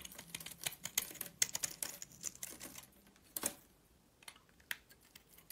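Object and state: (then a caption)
Glitter-coated soap bar being scraped. A metal blade scrapes a rectangular solid purple soap bar with a gold glitter coating, held in hand. Quick, crisp, bright scratchy ticks come in a dense run for about three seconds, then thin out into a few scattered scrapes separated by near-silence. There is almost no low end and each tick ends immediately.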